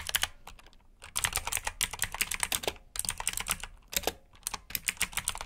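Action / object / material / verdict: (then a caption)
tap / plastic mechanical keyboard / plastic / none. Fingertips type on a black backlit plastic mechanical keyboard with blue switches. Quick bursts of crisp, bright clicky keystrokes rattle in rapid runs, separated by short pauses. Each click dies almost instantly.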